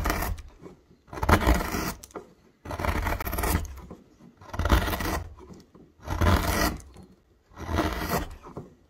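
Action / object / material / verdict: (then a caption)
scrape / myrtle wood blank / wood / none. A wide metal gouge, pressed by the thumb, carves and scrapes a hollow into a thick, solid myrtle wood blank labelled MYRTLE. About six separate rasping strokes are heard, each a broad, gritty scrape with a heavy low thump underneath and bright shaving texture on top, separated by short quiet gaps.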